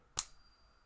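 A larger silver Maple Leaf bullion coin, held at the middle, is tapped once and gives a bright, high-pitched ring with a faint tone that lingers. The clear sustained ring marks it as a real silver Maple Leaf.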